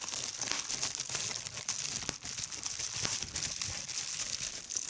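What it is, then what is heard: Plastic bubble wrap. A hand with long red-painted nails crumples a large sheet of clear polyethylene bubble wrap lying over a striped cloth and pinches bubbles to pop them. The result is a steady, bright crinkling rustle mixed with sharp, quick pops. The sound is almost entirely high-pitched, with very little low end.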